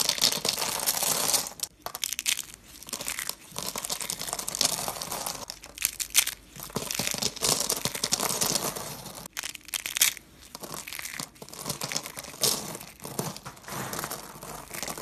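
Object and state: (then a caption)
Dry soap curls being crushed. Fingers crumble white dry soap curls and flakes and press them with the palm. The result is dense, bright, crinkly crunching that comes in long bursts, with brief pauses near 1.7 and 9.3 seconds. There is almost no low end and each crackle dies away at once.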